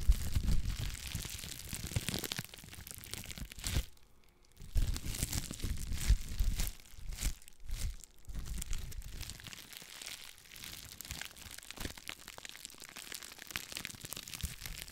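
A clear plastic bubble wrap sheet is crinkled, scratched and popped with long black nails, giving dense, continuous crackling and crunching with sharp snaps. The texture is bright on top over a heavy low thump, with a brief near-silent pause around four seconds before the crinkling resumes.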